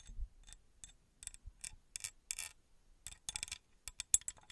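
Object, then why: Small engraved metal pyramid tapped and scratched with fingernails. Long red acrylic nails tap and scratch the faces of a small, engraved, copper-colored metal pyramid that is palm-sized, likely hollow, and held in one hand. The result is a quiet, irregular series of short, bright, dry clicks and scratchy rasps with almost no ring, over a faint low rumble.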